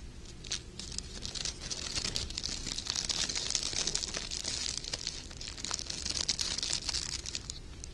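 Gold glittery sheer organza ribbon with wire edges is scrunched into a bunch and crinkled by fingertips and short painted nails. A steady, bright, dense crinkling hiss is heard throughout, dotted with many tiny sharp crackles and faint low rustling underneath.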